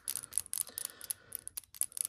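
A plastic jar of quinacridone gold and titanium white airbrush paint is shaken, and the steel ball inside rattles in quick, bright, high-pitched clicks with no ring. The heavy ball helps mix the pigment that has settled to the bottom.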